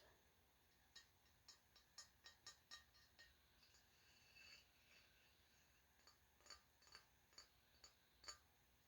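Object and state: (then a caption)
Glass vase. Fingertips tap a green-and-orange ribbed glass vase that fades to orange at the bottom, about fifteen times. Each tap is a quiet, bright, high clink that dies away almost at once, with a soft faint hiss between taps.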